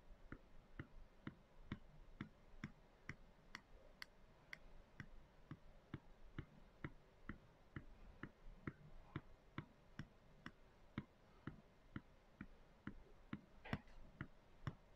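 Long acrylic nails tap the surface of a clear plastic storage canister with a white lid, full of soy chunks and lying on its side. About 33 short, dry clicks come at a steady but slightly uneven pace of roughly two per second. Each tap has a low body and a bright tick that dies away almost instantly.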